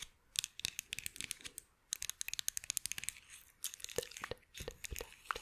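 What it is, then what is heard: Wooden toy scissors. Small, solid light-wood toy scissors are held in one hand close to the microphone while long acrylic nails on the other hand scratch and tap them. Quick, bright clicks and crinkly scratching come in rapid, uneven bursts with brief pauses, with very little low end and no ring after each tap.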